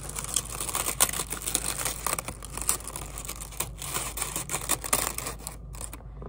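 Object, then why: Kraft paper honeycomb packing wrap. Brown kraft paper honeycomb packing wrap is held in both hands, pulled apart and crinkled with the fingers, and possibly torn into two pieces. A dense, bright rustle of crinkles and crackles runs throughout, with sharper snaps, over a steady low hum. Near the end, the high crackle briefly thins out.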